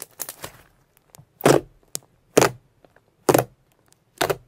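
A sheet of soft purple shimmer slime, called purple pearl slime, is stretched by hand, then folded and pressed with fingertips on a white surface. It makes wet crackling pops and small clicks, with four louder bright crackling bursts spaced just under a second apart, each dying away quickly.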